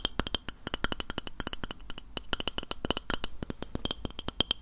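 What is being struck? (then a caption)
Glass plate. Fingernails tap a white glass plate in a rapid, uneven run of about 35 quick taps. Each tap is a short, bright clink with a faint high ring that dies away almost at once, over a light low thud.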